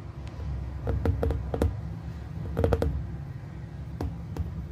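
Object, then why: Glass plasma ball. Two hands hold a hollow glass plasma ball, lit from within, and tap its surface with their fingertips in quick clusters. Each tap is a soft, short glassy tick with a brief ring, over a steady low hum.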